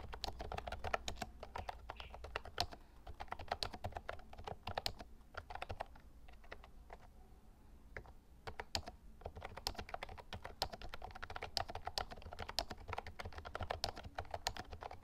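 Fingertips type on an Actto Retro Pop Mini Bluetooth keyboard, a plastic mechanical keyboard with a lilac plastic case and round white plastic keycaps. A fast, steady stream of short, crisp plastic clicks with a low thock underneath fills the clip. The typing thins to a brief lull in the middle before picking back up.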